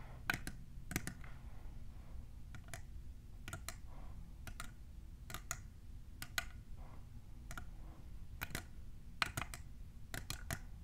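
Long nails fitted with plastic clips tap a tall, hollow, clear printed plastic tumbler cup. Sharp, dry, bright clicks come in quick pairs and small clusters with a faint tone around 1.5 kHz. Each click dies away almost instantly over a steady low background rumble.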